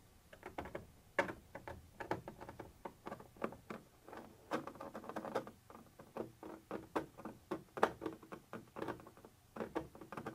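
A thin metal pointer tip scratches and taps across a white translucent textured plastic surface. It makes a quick, uneven series of many short, dry clicks and ticks, each dying away almost at once, with most energy in the mid range. Faint scratchy friction runs between the taps.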